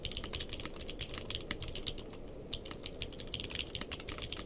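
A purple-cased mechanical keyboard with plastic keycaps is typed on with fingertips, with the microphone placed behind it. Quick, bright plastic key clacks come in a steady, uneven stream over a low, constant background rumble.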